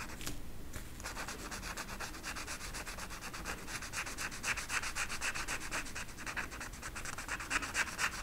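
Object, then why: Marker tip on flocked velvet paper. An orange marker tip is rubbed repeatedly in short strokes over a flat flocked-velvet peacock art poster sheet, while the other fingertips rest on the sheet's edge. The result is a steady, soft, bright scratchy rubbing with a fast, somewhat uneven rhythm of about four strokes per second. A faint low rumble sits underneath.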